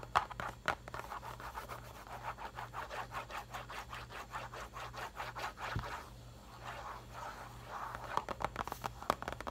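Fingertips and nails rub, scratch and tap the printed face and edges of a medium printed cardboard mochi box, likely full, lying on its side on a paper towel. Soft rhythmic papery scrapes and light taps come in quick strokes, with a faint steady low hum underneath. A few sharper, brighter taps stand out near the start and end.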